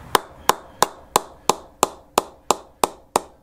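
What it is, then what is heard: Willow cricket bat knocked with a mallet. A full-size solid English willow Gray-Nicolls Kronus 1100 cricket bat, held by its red rubber grip, is struck on the face of the blade with a wooden bat mallet. Eleven sharp, bright knocks at a steady pace of about three per second each have a woody tone centered near 1 kHz. Each knock dies away almost instantly with little low-end body.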